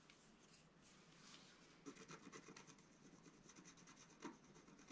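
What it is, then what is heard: Scratch art paper sheet. A flat black-coated scratch-art card is held down by one hand while a wooden stylus scrapes away its coating. A quiet, steady dry rubbing gives way to a quick run of short, uneven scratchy strokes with bright, hissy edges and very little ring.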